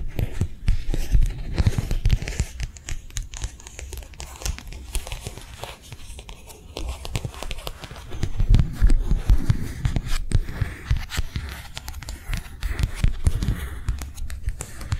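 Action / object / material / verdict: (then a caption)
tap / thin plastic sheet / plastic / none. Long nails rapidly tap and scratch a thin, translucent matte plastic sheet held in both hands. The result is a fast, uneven stream of crisp clicks and crinkling scrapes over a dull, low thump, with bright ticks on top. It swells louder around the middle before easing back.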